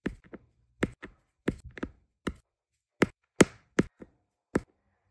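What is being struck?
Resin drills on adhesive canvas, pressed with an applicator pen.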